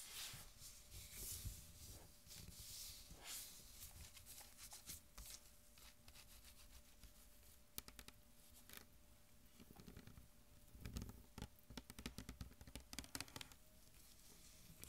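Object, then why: Plastic soda bottle. A mostly full green Mountain Dew PET soda bottle is held in the hands while long nails rub and scratch across its label and plastic. The result is a quiet, dry scratching and crinkling texture with bright, airy hiss, broken by sharp clicky taps that cluster more densely in the second half. A faint steady tone hums underneath throughout.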